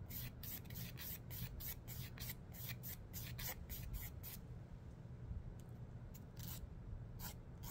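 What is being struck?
Emery board nail file.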